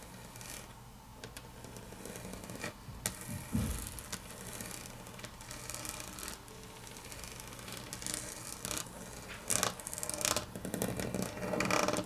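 Long natural nails tap quickly on a solid, flat grey wood-grain laminate tabletop. The result is a steady stream of short, dry clicks with little ring, irregular in rhythm and bright in tone. Several louder, sharper taps stand out toward the end.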